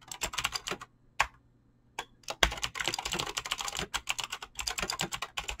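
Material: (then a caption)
Plastic. Fingertips type fast on a Razer BlackWidow mechanical keyboard with clicky green switches and pink-blue dyed PBT plastic keycaps. Rapid, bright clacking keystrokes come in quick bursts, with a brief pause and a couple of isolated taps near the start before the fast typing resumes.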